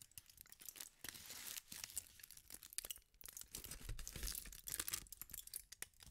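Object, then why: Thin aluminium foil sheet. A thin sheet of aluminum tinfoil is crumpled, stretched and scrunched by fingertips with painted nails. It gives dense, irregular crackling and crinkling with bright, sharp snaps over a soft low rustle, and no ring after each crackle.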